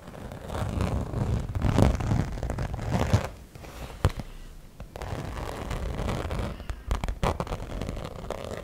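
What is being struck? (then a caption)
Glitter-coated fabric zip pouch. Long nails scratch and tap the glitter-coated surface of a small fuchsia cosmetic pouch with a gold zipper, a hollow, soft-sided pouch with a black lining, while fingers work inside its opening. A dense, low-heavy rustling scrape swells and fades, broken by several sharp, dry ticks of tapping.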